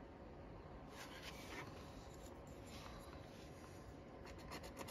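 A thin wooden stick scratches the latex coating off the letter area of a flat, thin cardboard Michigan Cashword scratch-off ticket held flat by the fingers. Quiet, dry rubbing and scraping strokes sit over a steady low rumble, with brief bright scratchy bursts.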